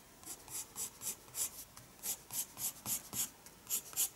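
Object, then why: Pencil on paper sketchbook page. A pencil draws strokes on a paper page of a spiral sketchbook. A quick, somewhat uneven series of short, bright scratching strokes repeats at roughly three to four per second. Each stroke is a soft, high hiss with almost no low end, ending cleanly between strokes.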